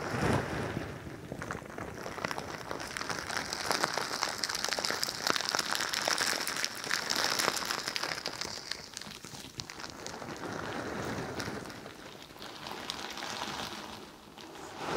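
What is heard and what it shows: A pink crinkly bingsu ball, a stretchy plastic skin filled with plastic beads, is held by the microphone and squeezed and scratched with long nails. The result is a dense, continuous crinkly rustle of many tiny bright clicks, swelling and easing in waves over the clip.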